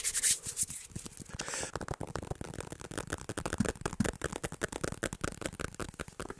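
A thin, solid, dark tablet with a glass screen and hard back, held in both hands, is tapped fast with fingertips and nails, including above the head. After a brief bright, hissy burst at the start, a rapid, irregular stream of short, dry clicks and taps follows, each dying out almost at once.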